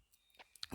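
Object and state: Copper gas hose safety valve with a loose steel ball inside.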